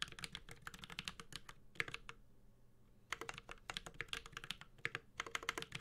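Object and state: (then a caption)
Mechanical keyboard being typed on. A Space65 Cybervoyager 65% mechanical keyboard with an aluminum case, plastic keycaps and Holy Panda switches is typed on with the fingertips of both hands. About 35 short, crisp, bright clacks come in quick bursts, with a brief pause of about a second in the middle. Each tap has a tight, sharp attack and very little ring.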